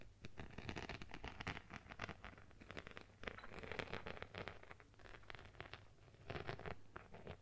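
Long nails scratch and tap quickly across a phone in a plastic case covered with multicolored beads. The result is a dense run of dry, crackly clicks and scrapes with no ring, pausing briefly around 3 and 6 seconds, over a steady low hum.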